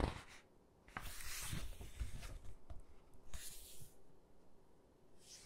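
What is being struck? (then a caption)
Hardcover book with glossy paper pages. Hands with long dark-painted nails grip and quickly flip the glossy paper pages of a large hardcover photo book lying open on a table. Quiet, bright swishing and rustling bursts rise and fade over a soft low rumble, with small taps as the pages are caught and turned.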